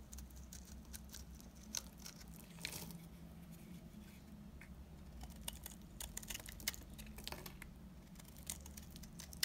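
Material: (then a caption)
Soap. A blade cuts flakes off the face of a solid, dry green soap bar, shaving it into crumbly curls. Quiet, dry scraping is heard with many short, bright crackling ticks and crunches over a steady low hum.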